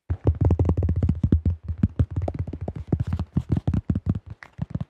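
Fingertips rapidly tap and grip the rim and underside of a tan plastic disc golf disc with a blue rim and a thin shell. The result is a quick, uneven run of dull, hollow, low thuds that die away almost at once, with faint brighter clicks from the fingertips.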